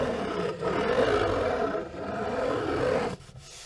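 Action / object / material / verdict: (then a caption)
scrape / cardboard box / cardboard / none. Long nails scratch and tap the top and side of a large, hollow, dark grey box with a textured surface, likely cardboard. A steady, raspy scratching with a mid-range tone runs for about three seconds, then drops suddenly to quiet.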